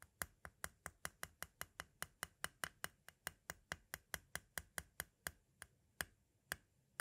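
A pointed tool taps the face of a small, hollow white hard-plastic audio cassette shell near its window. About 30 sharp, dry, bright clicks come in a quick, fairly steady run that spaces out toward the end. Each click dies away almost instantly with a quiet, hollow knock underneath.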